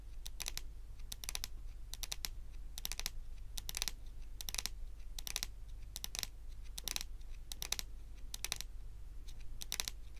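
Very long pointed acrylic nails on both hands tap rapidly on a large, solid, glossy dark brown wooden table top. Quick bursts of sharp, bright clicks with almost no ring repeat steadily throughout. A constant low hum sits underneath.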